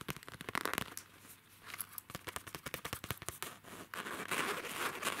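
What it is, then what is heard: Faux leather pencil case. Fingertips and nails scratch and tap the glossy printed faux leather (PVC) surface of a hollow, soft zippered pencil case with a shiba dog pattern. The result is a quiet, irregular run of dry, crisp clicks and crinkly scratches. Brief taps are mixed with short bursts of brighter, hissy rubbing.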